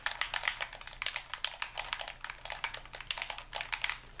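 A white, hand-sized, hollow plastic Xbox-style game controller is held in both hands while thumbs and fingers rapidly tap its buttons and sticks. Quick, bright plastic clicks follow one another in a steady, uneven patter, each dying away almost at once.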